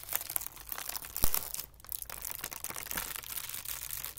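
A thin, white, wrinkled sheet of tissue paper resting on carpet is gathered, folded and pressed by hands. It gives a steady, dense, bright crinkling and crackling, with one sharper snap partway through and a brief quieter pause after it.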